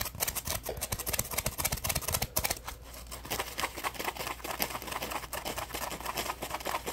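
A dry, yellow-orange polymer foam sponge with a textured surface is scratched and squeezed with fingertips and short nails. The result is a dense run of quick, crisp, bright scratching and crackling strokes over a faint, steady low hum.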